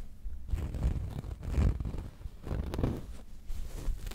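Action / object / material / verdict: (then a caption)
scrape / stuffed pillow with a cotton canvas cover / cotton canvas / none. A medium square cushion with a cream cotton canvas cover printed with a black cat and a red heart, soft and stuffed, is held against the mic and scratched and rubbed with long painted nails and fingertips. The result is a muffled, low, rumbling scratching and rustling that swells and fades in continuous strokes, with almost no bright top end.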